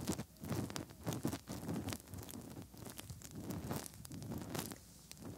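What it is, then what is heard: Silicone binaural microphone ears being rubbed. Bare fingertips rub inside the hollow ear canals of the soft silicone ears on both sides of a 3Dio binaural microphone. The result is close, muffled rustling and squeaky scraping, with dense low thumps and brief bright crackles.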